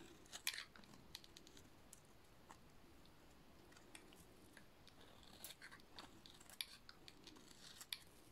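A metal utility-knife blade shaves a solid, dry blue soap bar, producing quiet, bright, crisp scraping and crackling. Sharp, dry snaps stand out at intervals over a soft, steady hiss, and each dies away almost instantly.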